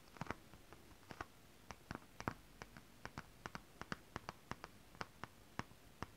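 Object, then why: Scale-printed synthetic fabric tapped with long acrylic nails. Long rhinestone acrylic nails on one hand scratch the surface of holographic mermaid scale-printed fabric up close. About two dozen quiet, sharp, bright clicks sound in an uneven rhythm. Each click dies away almost instantly over a soft, steady background hiss.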